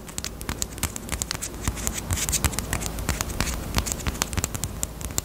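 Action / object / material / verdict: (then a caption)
tap / small hard plastic bunny-shaped lip balm case / hard plastic / none. Long nails tap quickly on a small, closed, hollow pink hard plastic Peep bunny-shaped chapstick case. The result is a steady run of sharp, bright clicks, each with a brief low, hollow knock underneath. The clicks die away almost instantly over a faint constant hiss.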